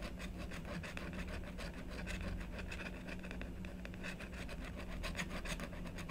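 A blue stylus scratches repeated hatching strokes into the lower part of the design on a black-coated scratch-art paper board, held flat by a long-nailed hand. The result is a steady, dry, rasping scratch with rhythmic stroke pulses, over a faint low hum.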